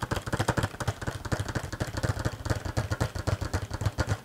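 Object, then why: Cardboard box with plastic window. A small green cardboard toy box with a clear plastic front window and a figure inside is held in both hands and tapped and scratched with fingernails. The result is a quick, steady run of dull, low thumps with short, dry clicks and a faint scratchy rustle, each tap dying out almost at once.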